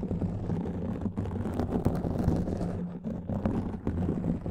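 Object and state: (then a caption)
Foam microphone windscreen being scratched. A black foam windscreen on a microphone is scratched and rubbed with the fingertips and nails of both hands. The sound is a dense, muffled, continuous rustling and scraping, heavy in low rumble with a faint low hum and almost no bright content.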